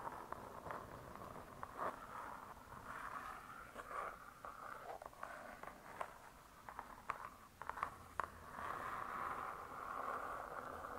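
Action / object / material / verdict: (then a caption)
tap / laminated board cover of a spiral-bound hardcover cookbook / laminated board / none. A closed, spiral-bound hardcover cookbook with laminated boards is scratched and tapped on its cover by one hand with long stiletto nails. Soft, steady scratching with a midrange hiss is broken by short, sharp nail taps at irregular intervals.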